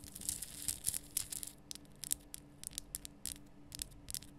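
A large, lit, pink Himalayan salt lamp, a solid rough rock-salt crystal, is scratched and tapped with long painted fingernails. Short, dry, bright scratching bursts come in a quick, uneven series over a faint low hum. The sounds are crisp, with almost no ring after each stroke.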